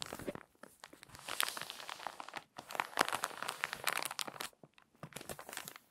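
An open glossy paper magazine on a table is handled by fingertips rubbing the page flat, then the page is turned and creased. It makes dense, bright crinkling and crackling with sharp dry ticks, in bursts separated by brief near-silent gaps.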